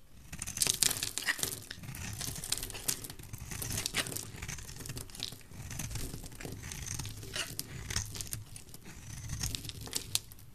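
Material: Soap.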